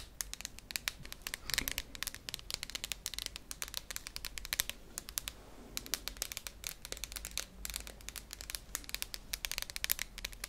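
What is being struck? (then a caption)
Small tin can with plastic lid. A small, hollow cylindrical tin can with a red plastic lid is held close in both hands and tapped and scratched with long nails. Rapid, crisp clicks and scratchy crinkling fill the clip, bright and high-pitched with almost no ring after each tap. It stays quiet and steady throughout.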